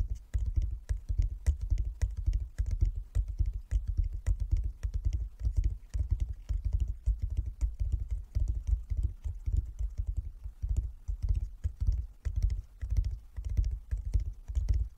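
A flat wooden chess board with light and dark inlaid squares is tapped with the fingertips of both hands. The result is a steady, fast patter of short, dull knocks with deep low thumps and little ring.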